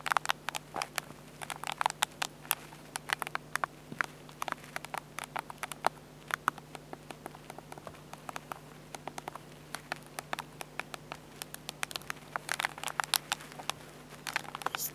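A small, hollow black plastic Olympus compact digital camera is tapped and scratched by fingertips on its screen bezel and back control pad. Dense, irregular clicky taps and scratchy rustles overlap, each dry and short with no ring, over a steady low hum.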